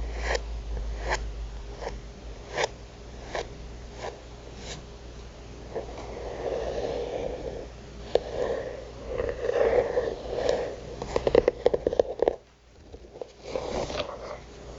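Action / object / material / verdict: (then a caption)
tap / thick paper notebook cover / paper / none. Long nails tap and scratch across a flat, thick paper notebook cover with a printed illustration. Spaced, dry, sharp taps come first, then a soft, papery scratching texture. It ends with a faster run of crisp clicks, a brief near-silence and a last stretch of scratching.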